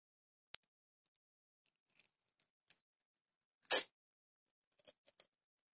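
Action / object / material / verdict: scrape / paper masking tape roll / paper tape / none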